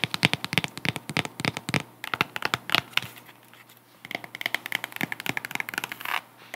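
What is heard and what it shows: Long acrylic nails scratch and rub a hand-held wedge sandal with white straps and a tall, solid woven jute/cork wedge sole. Dozens of dry, bright, crackling scratches and taps come in rapid bursts, easing into a softer rubbing hiss around the middle before the quick scratching picks up again.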